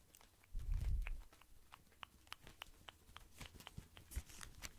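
A tall white cylindrical pack of cotton pads wrapped in thin plastic film is held up near the microphone while fingertips squeeze and scratch the wrap. A soft low rumble swells early on, then a quick, uneven series of crisp, bright crinkles and ticks continues to the end.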